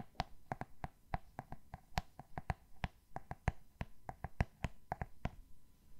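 Fingernails tap on the glossy cardboard cover of a solid Roald Dahl "Rijmsoep" hardcover book held up in the air. About 24 quick, dry clicks in an uneven rhythm, each with a soft low thud that stops almost instantly. The tapping is quiet and close.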